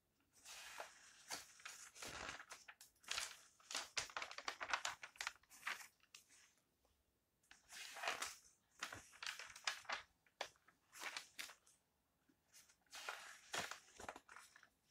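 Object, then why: Magazine with glossy coated paper pages. Fingertips flip and rustle the glossy coated paper pages of an open, thin lifestyle magazine with a folded insert. Bright, crisp crinkling and swishing bursts come in quick clusters, separated by short quiet pauses.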